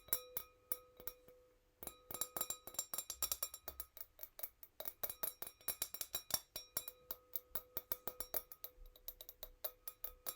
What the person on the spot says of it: Fast but gentle nail tappings. Tiny wine glass sound.